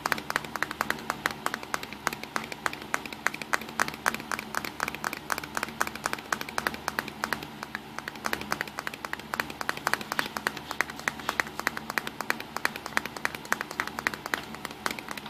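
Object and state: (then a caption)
Plastic compact camera. Fingertips and short nails tap quickly on the front of a small black plastic Nikon Coolpix compact digital camera, around the lens ring of its hollow body. A dense, continuous stream of fast, dry, clicky taps runs the whole time, each one very short and bright with almost no ring, over a faint steady low hum.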